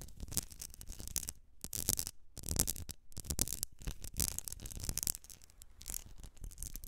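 Long nails scratch the etched glass and base of a medium glass candle jar filled with solid wax as it is held and tilted. Irregular bursts of bright, gritty scraping rise and fall over a low rumble, with a few brief near-silent pauses between strokes.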